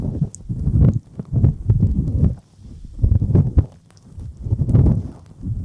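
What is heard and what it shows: Fingertips rub and tap the silicone ears of a dual-ear binaural microphone, producing dull, muffled low thumps and scuffing in uneven bursts. The sound is almost entirely bass-heavy with no bright content, swelling and fading in several rubbing passages.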